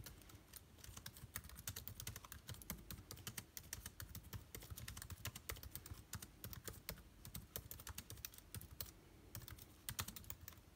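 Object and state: Laptop keyboard being typed on.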